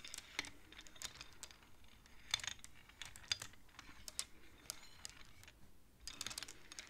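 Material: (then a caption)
Wood. Fingertips slide and tap the painted wooden beads of a wooden abacus along its metal rods. The result is a quiet, irregular run of short, dry, bright clicks and light clacks with almost no ring. Scattered louder taps stand out near the middle and end.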